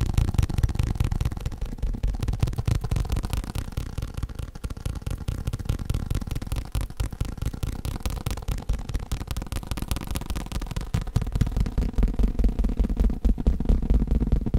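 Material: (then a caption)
Faux leather. A faux leather cushion is tapped rapidly and continuously with fingertips. The result is a steady stream of soft, dull, low-pitched thumps at about four per second, each dying away almost at once with no ring.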